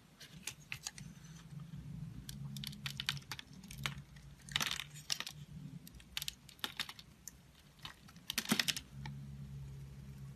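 A metal utility-knife blade shaves and scrapes curls off the edge and surface of a solid, rectangular dark blue bar of soap embossed "SVOBODA", held in a hand with long pink nails. Crisp, bright scraping and crackling strokes come in quick, uneven bursts, with a few louder scrapes standing out. A steady low hum sits underneath throughout.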